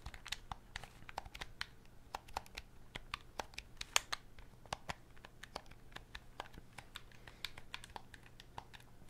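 A black, hollow plastic wired game controller is held in both hands while thumbs and fingertips click its buttons and tap the plastic body. About 28 quiet, sharp, dry clicks and taps come in an uneven run, bright and crisp with no ring. A faint low hum sits underneath.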